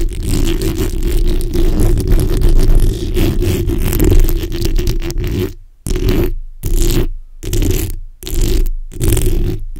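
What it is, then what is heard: Metal mesh microphone grille being scratched. The backs of long nails scratch across a black, hollow steel mesh microphone grille, making a dense, low, rumbling scrape with a steady hum-like band. For the first half it is continuous. Then it breaks into short, separate scraping strokes with brief silences between them.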